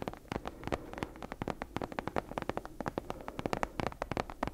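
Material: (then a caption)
Leather. Long nails tap and scratch the cover of a brown leather-bound book with a stitched spine, held upright. About thirty quick, dry taps come in a steady run over a faint scratchy hiss, each one short and crisp with almost no ring.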